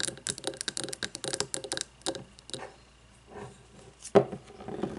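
A frosted glass candle jar filled with white wax sits on a wooden table and is tapped with long fingernails on both sides. Quick bursts of light, bright clicking taps come first, then a quieter pause with a soft brushing sound, and a single sharper, louder tap near the end before more light tapping.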